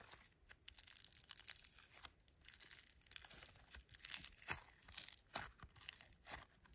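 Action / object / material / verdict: scrape / foam bead slime / foam beads / none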